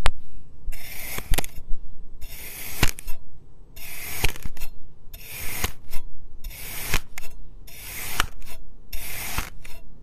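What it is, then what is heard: Kinetic sand disc being sliced. A steel knife slices a solid purple, round molded disc of packed kinetic sand into a grid of thin slices. Each cut brings a gritty, bright, rasping scrape, interspersed with short sharp clicks as the blade meets the surface, over a faint low rumble. The strokes repeat at a steady, rhythmic pace.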